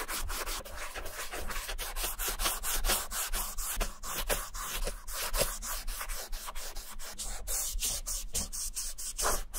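A cotton ball held in metal tweezers is rubbed back and forth across the beige suede leather upper of an Adidas Superstar sneaker, near the logo where the shoe is partly covered with yellow masking tape. The rubbing makes a steady, soft, brushy scrubbing with quick repeated strokes and a bright, airy hiss on top.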